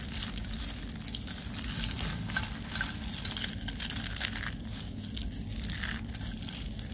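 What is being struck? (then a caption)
Pile of dry soap curls crumbled by hand. A pile of finely broken, dry pale-green soap curls in a white tray is squeezed and crumbled between the fingertips and fists of both hands. The result is a steady, dense crunching and crackling with a bright, crisp edge over a constant low rumble, with no clear gaps between the crunches.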